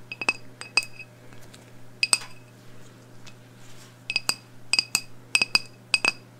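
Long blue nails tap a medium black glass candle jar, filled with wax and holding a lit candle, held in one hand. Quick bursts of bright, high glassy clinks come in small clusters with pauses between them. Each clink dies away almost at once over a faint steady low hum.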